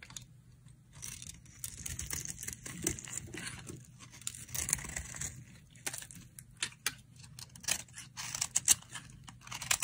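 A solid green and yellow bar of dry soap, held in the hand, is scraped and carved with a metal blade, producing thin shavings. Quick, bright, crisp scraping and crackling strokes come in irregular bursts over a faint low hum.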